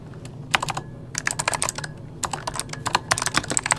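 Fingertips of both hands type on an RGB-backlit mechanical keyboard with plastic keycaps. About eighteen crisp, bright clicks come in quick, uneven bursts, with short pauses between them. Each keystroke decays almost instantly over a faint low hum.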